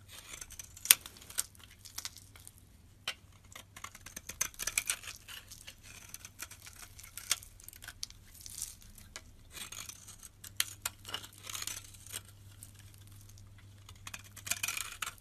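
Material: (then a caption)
Soap. A solid green bar of soap held in the hand is scraped with a metal utility blade, shaving off powdery flakes. The result is a stream of quiet, crisp, bright scratching and crackling strokes with short bursts. A steady low hum runs underneath.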